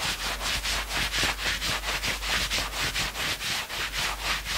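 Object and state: Knit fabric sweatshirt being scratched.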